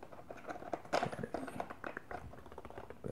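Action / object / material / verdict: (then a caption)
tap / plastic shape-sorter toy truck / plastic / none. Fingertips tap and scratch the top surface of a large hollow plastic toy truck with a yellow shape-sorter box on top, while the other hand holds it steady. A quick run of soft, hollow plastic taps mixes with dry scratching, with a steady mid-range tone and the loudest burst about a second in. Each tap dies away fast, leaving a light, crackly patter.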